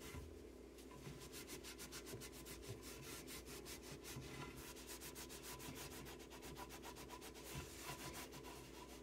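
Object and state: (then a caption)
Melamine cabinet shelf wiped with a cloth. A hand rubs and wipes a solid, flat white melamine particleboard shelf inside a cabinet with a purple terry cloth, with jars sitting on the shelf below. Quick, rhythmic back-and-forth strokes make a steady run of bright, airy swishing scrubs over a constant low hum.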